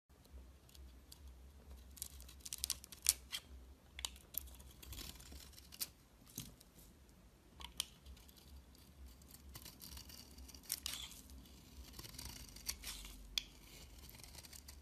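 A metal utility-knife blade scrapes and shaves curls off the surface of a palm-sized solid bar of soap with a blue outer layer and white interior, held in one hand. Quiet, bright, crisp scraping and shaving textures are broken by irregular sharp crackling ticks, over a steady low hum.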